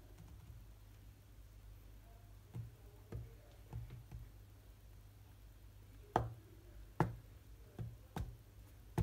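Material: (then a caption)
Glass. Fingertips of one or both hands tap sparsely on the glass touchscreen of a large iPad-style tablet lying flat while a rhythm game runs. Several short, dull taps come at irregular intervals over a steady low hum, each dying away almost at once, with the last few louder than the first.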